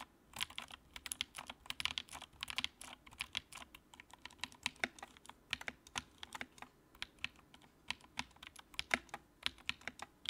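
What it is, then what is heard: Plastic mechanical keyboard. Fingertips type on the keycaps of a compact white plastic mechanical keyboard with a backlight. A quiet, steady run of short, sharp clacks with a bright, crisp tone and almost no low end, each keystroke dying away instantly.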